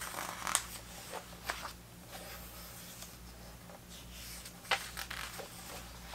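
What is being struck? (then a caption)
Paper pages of a hardcover book. Fingertips flip and rub the thick paper pages of a large vintage hardcover book on 1970s soccer lying open, making a soft rustling, flapping sound. Several sharper, bright page flicks stand out over quieter dry rustling, with a faint steady low hum underneath.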